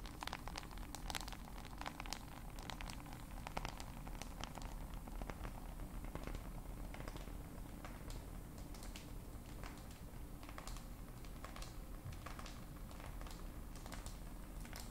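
Long pointed acrylic nails tap over a dark smartphone with a glass screen and hard casing held in both hands. The result is a quiet, steady stream of small, sharp clicks and light patter with bright ticks, over a constant low rumble.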